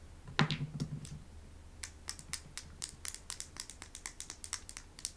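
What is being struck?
Small painted stones.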